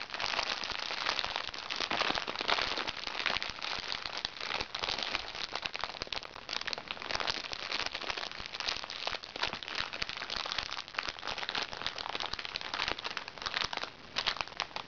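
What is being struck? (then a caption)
Plastic-film makeup bag. A small, hollow makeup bag made of recycled plastic sachets, with a crinkly plastic-film surface, lies flat while long red-painted fingernails of both hands scratch and rub it. The result is about 15 seconds of dense, continuous crinkling and crackling, bright and hissy with almost no low end, rising and falling slightly in loudness throughout.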